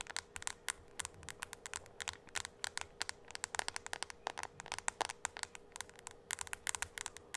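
A small tablet with a glass screen is held upright and tapped rapidly on the screen with the long acrylic nails of both hands. Dozens of quick, sharp, bright clicks land in an uneven patter, each dying away instantly over a faint steady hum.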